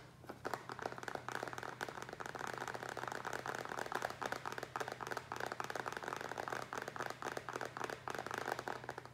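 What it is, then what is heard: Plastic tray. Fingertips and nails tap and scratch a small, empty, hollow black plastic rectangular tray, first upside-down and then upright on a wooden table. The result is a continuous flurry of rapid, dry, clicky taps with short scraping sounds, centered in the mid range around 800 Hz with brief bright edges. A faint steady low hum sits underneath.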